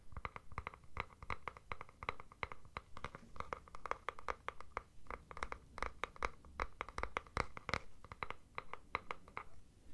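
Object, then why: Plastic deodorant stick container. Fingernails scratch and tap the plastic body of a capped deodorant stick container. A rapid, irregular series of short, dry clicks and scrapes has a bright, hollow plastic tone and no ringing after each hit.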